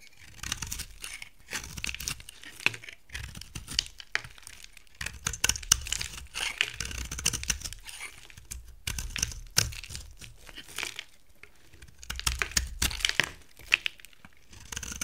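A utility knife blade scrapes a solid, dry amber soap bar with a gold side, shaving off dry, flaky curls. The result is a steady run of crisp, bright scraping and crackling in bursts, with soft low thuds beneath and brief pauses between strokes.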